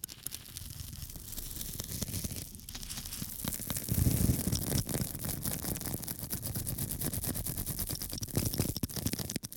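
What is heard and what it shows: A small, flat square of pink porous foam, held in one hand, is scratched repeatedly with a small metal tool held in the other. The result is a dense, continuous scratching and rasping texture with a heavy low rumble and a bright hiss on top. It swells loudest around the middle, then keeps a steady, gritty rhythm to the end.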